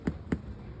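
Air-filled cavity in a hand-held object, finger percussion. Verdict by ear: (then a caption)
Hollow. Two taps of indirect percussion over the air-filled cavity of an object held in the hands give a hollow, resonant tympanic thud, low-pitched around 170 Hz with a very short ring. The sound is normal, like that of a healthy air-filled lung.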